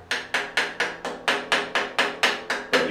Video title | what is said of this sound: How To PROPERLY Repair Concrete Damaged By Rusted Rebar (Ceilings/Walls/Floors) | if you bang on it and it sounds hollow that's an area that's not bonded well and it's going to fall down later on